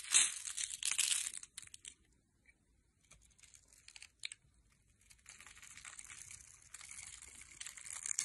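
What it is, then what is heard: Soap bar being cut. A metal knife blade cuts into the scored surface of a solid rectangular teal soap bar held in the hand, slicing off small cubes that fall away. Bright, crisp crumbling and scraping bursts are loudest in the first second and a half, thin to a few faint ticks in a quiet stretch, then return as a steady, softer scraping through the end.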